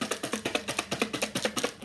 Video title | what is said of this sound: Four Noisy Things | it makes noise when it's in a bag or in a container and you shake it